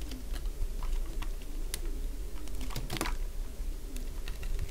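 A metal blade held in the hand carves a solid, cream-coloured piece of dry bar soap, producing a run of short, dry crunching clicks and scrapes. The clicks sit over a steady low rumble, with a few brighter crackles near the middle.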